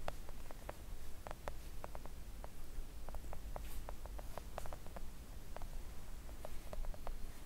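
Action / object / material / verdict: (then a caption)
tap / silicone mat tapped with acrylic fingernails / silicone / none. Long acrylic nails tap with both hands on a flat, thin, solid pink silicone nail art mat. The result is a steady run of soft, quick, dry clicks with almost no ring, over a faint low rumble.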